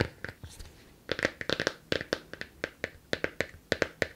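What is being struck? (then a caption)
Hardcover book with laminated cardboard cover. Fingertips and long nails tap and scratch the front of a closed hardcover book with a glossy laminated cardboard cover. A sparse start of soft taps gives way to a steady run of short, crisp clicks with bright, papery scratch. Each tap cuts off almost instantly with no ring.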